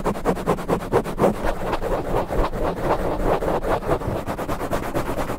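Fingertips of both hands rapidly and aggressively scratch and rub a soft, porous black foam windscreen over the head of a standing condenser microphone. The result is a dense, continuous stream of quick, muffled scratching bursts with a heavy low rumble and a mid-range rustle, and almost no high, bright content.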